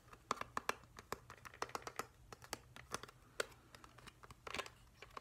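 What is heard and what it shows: A pale plastic, hollow, whale-shaped humidifier, turned over to show its vented base, is tapped and scratched with fingertips and nails. The result is a quiet, irregular run of short, sharp, clicky taps with almost no ring, mixed with brief scratchy rustles over a faint low hum.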